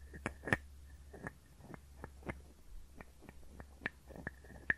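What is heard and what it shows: A small hollow wooden frog guiro is scraped and tapped with a wooden stick, held close to the microphones. A quiet series of short, dry wooden clicks and soft scrapes sounds at an uneven pace, some taps carrying a brief hollow tone near 1.8 kHz. A low steady hum runs underneath.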